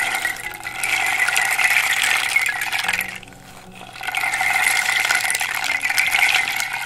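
A flat, round, hollow wooden rain drum about 25 cm across, its light wooden face painted with dots and dark radial lines, is held in one hand and tilted and shaken so its loose contents rattle inside while long, dark-polished nails tap and scratch the face. The result is a dense, bright, steady rattling hiss with fine clicking grains. It fades to a quieter trickle midway, then swells back to full strength.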